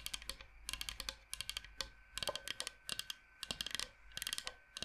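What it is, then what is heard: Bamboo cutting board. Fingernails tap and click very fast on a large, flat, solid bamboo cutting board shaped like Michigan. Bright, sharp clicks come in rapid clustered bursts with brief pauses between them, each dying away almost instantly with little low-end weight.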